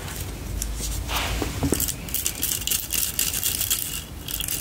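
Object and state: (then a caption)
Plastic hairbrush tapped and scratched. Long lilac-painted nails tap and scratch a lilac plastic paddle detangling hairbrush with a vented spiral pattern, bristles and a hollow open frame. The result is a steady stream of quick, dry plastic clicks and bright, crackly scratching with very little ring, over a low background rumble.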